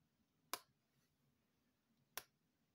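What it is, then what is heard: Plastic earbuds charging case. Long painted fingernails tap twice on a small, hollow, dark grey plastic earbuds charging case held in the hand. Each tap is a sharp, bright click that dies away almost instantly, with quiet pauses before, between and after them.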